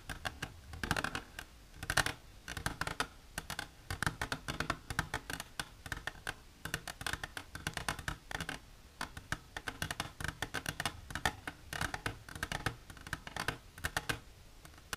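An empty, hollow, clear plastic container held in both hands is tapped and scratched along its sides by long silver nails. The result is a steady stream of quick, dry clicks and brief scratches with a bright edge. Each click dies away almost at once, with short pauses in between.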